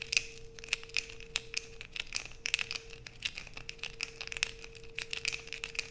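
Long white acrylic nails scrape a solid blue bar of soap held in the hands over a black plastic sheet, with shavings falling onto a pile below. A rapid series of dry, bright scratching and crinkling bursts sits over a faint steady low hum, each stroke sharp and quickly gone.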